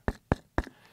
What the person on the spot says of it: it seems just like a coconut. It's so thick and hard.